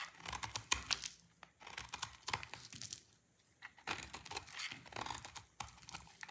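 A solid green bar of dry soap, held in the hand, is scraped with a utility knife blade, producing bursts of dry, bright crinkling and crunchy scratches. The scraping comes in quick clusters separated by short quiet pauses, with very little low end.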